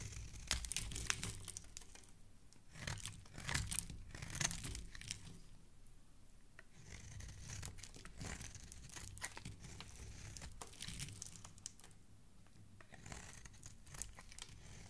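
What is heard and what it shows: A solid orange bar of soap, held in the fingers, is scraped with a black utility knife blade that peels off thin strips. Dry, crackly scraping and crumbling sounds come in uneven bursts, bright and broadband, over a soft low rumble.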